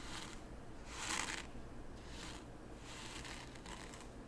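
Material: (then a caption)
Sand. A hand with painted nails pushes and drags a small wooden T-shaped rake through fine white sand in a small wooden zen garden tray, scraping and flattening the raked lines. Quiet, gritty hissing strokes come in repeated bright swells, the loudest around the one-second mark, over a steady low background rumble.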